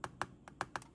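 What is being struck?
Steel keyboard stabilizer wire on a flat surface.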